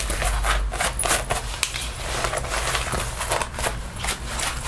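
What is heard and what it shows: Fingertips and nails scratch and rub the chest and shoulder panels of a worn black faux leather (synthetic) jacket, its soft flexible surface over the body, while a lint roller is held but not used. The result is a steady, bright, dry scratching and rustling with short, sharp scrapes.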